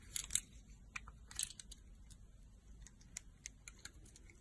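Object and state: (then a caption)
Soap bar being cut. A yellow box cutter blade slices thin strips from a solid, translucent green soap bar with a pre-scored surface, held in the hand. Quiet, crisp, bright cutting clicks and short scraping bursts come in quick succession, strongest near the start, over a faint low hum.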